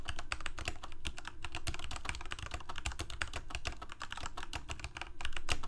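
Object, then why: Plastic mechanical keyboard. Both hands type rapidly with their fingertips on a full-size black plastic Corsair K68 mechanical keyboard with Cherry MX Red switches and blue backlit keycaps, resting on a white desk. A steady, dense stream of sharp, bright key clacks comes through, each with a short low thump underneath. The clacks grow slightly louder toward the end.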